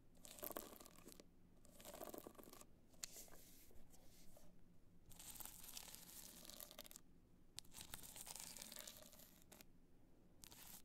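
Long nails scratch across the studded surface of a hollow black hard-shell clutch covered in multicolor rhinestones, held in the hand. The scratching comes in repeated bursts of bright, crackly rasping with brief quiet gaps between them, and each burst ends with no lingering ring.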